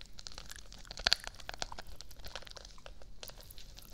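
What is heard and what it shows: Long nails scratch and rub a soft, flat, hand-sized pouch covered in silver plastic sequins, pressed against the side of the microphone. The result is a steady, dry, bright crackling and rustling made of many tiny clicks, with two sharper, louder snaps just after the first second.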